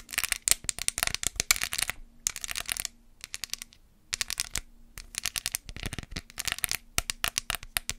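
Long acrylic nails rapidly tap a small white hollow plastic case, held in one hand, that holds red press-on nails, possibly rattling the contents. Bursts of bright, dry, sharp clicks come in quick runs separated by short pauses, over a faint steady low hum.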